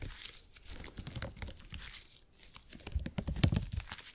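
A purple open-grid gel cushion made of hyper-elastic polymer is stretched wide and squeezed by fingers. It gives a steady run of quiet, close squishing and crinkly crackles with soft low thumps underneath and bright ticks on top. A brief pause falls partway through, then a louder burst of crackling follows near the end.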